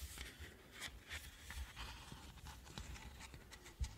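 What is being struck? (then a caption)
Plastic ice cream cone night lamp. Long manicured nails tap a hollow, unlit, hand-sized pink and beige plastic ice-cream-cone night lamp, moving over its textured cone and swirl top. Quiet, dry tapping and light scratching clicks come in a steady run with a low, dull thump beneath each hit, and one firmer tap lands near the end.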